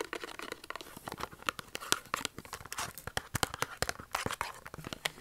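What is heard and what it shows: A small Dove soap carton of thin printed cardboard, with the soap still inside, is held upright and tapped with short fingernails. Rapid, dry, clicky taps mix with crinkly scratching, bright and papery with little low end. Each tap dies away almost at once.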